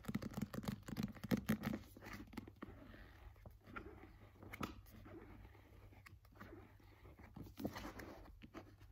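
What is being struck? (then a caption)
Paperback book with glossy paper cover. A solid paperback novel with a glossy paper cover is held, tapped and scratched with fingernails, and its pages are handled. The result is a busy, close run of dry taps and scratchy rustles over a low hum. The sounds are loudest in the first two seconds and settle to softer scraping and page sounds, with a few sharper taps near 4.6 and 7.7 seconds.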